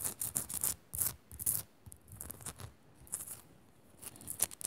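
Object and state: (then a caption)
Himalayan salt lamp, scratched. Long acrylic nails scratch fast over the rough crystalline surface of a hand-sized, solid pink Himalayan rock-salt crystal lamp held upright. The result is quick, bright, hissy bursts of scraping with a little low thump, separated by brief quiet gaps, each stopping dead with no ring.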